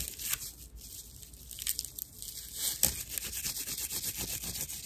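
Long nails scratch and squeeze a dry, hand-sized natural loofah, a fibrous plant material with hollow chambers. The sound is bright, dry crackling and rasping, mostly high with little low end. The scratching grows louder and more rhythmic in the second half.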